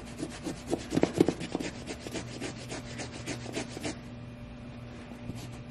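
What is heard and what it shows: A small bristle suede brush scrubs the side of a tall, hollow, tan suede sheepskin boot with a soft nap surface. A quick series of dry, scratchy brushing strokes rasps across the suede for about four seconds, the loudest near the one-second mark. The strokes then stop, leaving only a faint, steady low hum.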